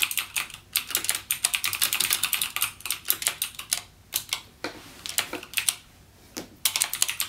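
Fingertips type continuously on a backlit mechanical gaming keyboard with plastic keycaps and clicky Cherry MX Blue switches. The result is rapid, bright, sharp clicks with very little low end and almost no ring. The typing pauses briefly a few times.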